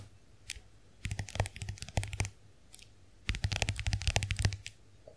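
Long nails tap and scratch the lid of a small, round, closed compact hand mirror with a white dotted plastic case. Two dense bursts of quick, bright clicks with faint scratching follow a couple of isolated taps, and each click dies away almost instantly.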